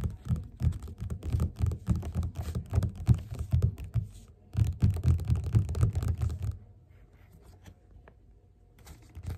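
Fast fingerpad tapping with both hands on the cover of a closed yellow glossy paperback of Othello lying flat on a table. It makes a dense, irregular patter of soft, dull low thuds with a brief dip around four seconds. The tapping stops at about six and a half seconds, leaving near silence with only a few faint taps at the end.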